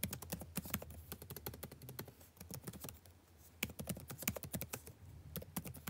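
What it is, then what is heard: Plastic laptop keyboard being typed on. Fingertips type continuously on a dark laptop's blue-backlit plastic keycaps, producing a rapid stream of light, dry clicks. Each tap is a short bright tick over a soft low thud that dies away almost instantly. The typing eases briefly near the middle before picking back up with a few sharper keystrokes.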